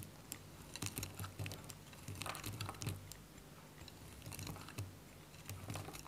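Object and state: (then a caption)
Dry bar soap. A small, solid, dry white bar of soap is held in the hand while a metal utility blade cuts crisp cubes off it. A quick run of short, dry crunching snaps follows, each with a bright crackle over a low thud and almost no ring.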